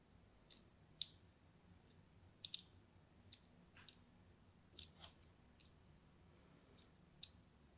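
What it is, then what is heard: Bar soap scored with a blade. A thin metal blade scores diagonal lines into the surface of an orange-and-white striped solid bar of soap held in the hand. About ten short, crisp, bright scratching clicks come at irregular intervals, each dying away almost instantly. A faint low background hum sits beneath them.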